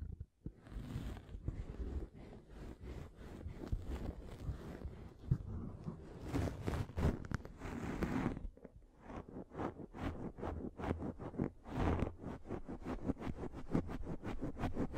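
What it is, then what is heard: Microfiber pad scratched against a microphone. A pink fluffy microfiber makeup remover pad is pressed against a microphone and scratched with long nails. The result is a dense, close, muffled scratching and rustling, heavy in the lows, with longer swishing sweeps early on that give way to quick, rhythmic strokes.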